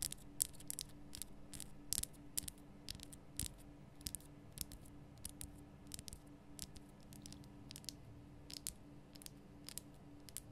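Long painted fingernails scratch and tap a large, lit pink Himalayan salt lamp, a solid rough rock-salt crystal. Quiet, sharp, bright clicks and brief scratchy ticks come in an irregular stream over a steady low hum, each dying away almost instantly.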